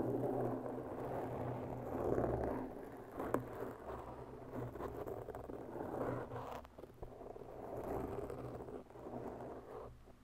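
Long natural bare nails of both hands slowly scratch and claw the surface of a large round black foam windscreen on a microphone. A dense, muffled, scratchy rustle swells and fades in waves, with a few sharper scrapes, over a steady low hum.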